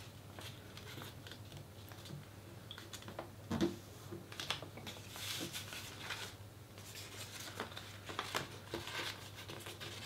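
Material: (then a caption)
Paper. A thin white paper sheet, folded into a triangle and lying flat on a cutting mat, is pressed along its folds by fingertips and long nails, rubbing and creasing the paper. Quiet, dry crinkling and scratchy brushing sounds come in irregular bursts over a steady low hum, with a sharper crackle just past the midpoint.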